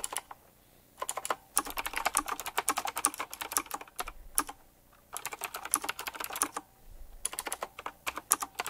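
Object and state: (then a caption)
Mechanical keyboard with round plastic keycaps. A full-size typewriter-style mechanical keyboard with round black plastic keycaps, chrome-look rims and a metallic frame is typed on quickly with fingertips. Bursts of bright, crisp clicks and taps come in rapid runs separated by short pauses, with very little low end and almost no ring after each keystroke.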